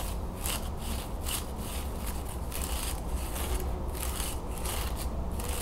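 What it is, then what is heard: Wooden folding fan, scratched. Thin wooden slats of a wooden folding fan are rubbed and scratched with long nails and fingertips as the fan is partly opened and folded. A steady dry scratching and rubbing carries on throughout, with repeated bright, crackly bursts over a low rumble.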